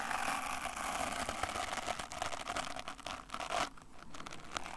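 A small brush with a wooden back and natural bristles is held in one hand while fingers scratch and rub across the bristles. The result is a dense, steady crackling scrape with bright, fizzy texture and a faint mid-range tone, dipping briefly near the end before the rubbing resumes.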